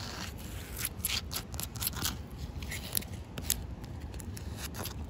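Short white-painted fingernails scratch a large, solid, slightly damp outdoor concrete slab. Quick bursts of bright, gritty scraping come in rapid succession over a steady low rumble. Each stroke cuts off dry, with no ring.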